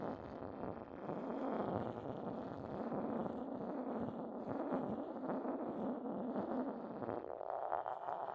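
The base of an upturned, hollow white decorated porcelain mortar is rubbed with the side of a porcelain pestle. It makes a continuous gritty, scraping rasp centered in the low-mid range, steady after a quieter first second. Toward the end the tone shifts slightly higher.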